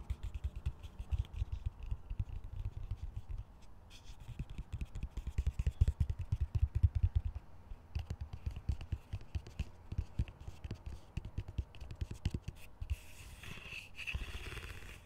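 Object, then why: Plastic colander. Fingers scratch and rub along the slotted sides and rim of a large, hollow, empty green plastic colander. The result is a dense run of rapid, dry scraping taps with a deep, muffled thumping body. Near the end the sound shifts into a brighter, hissier rub.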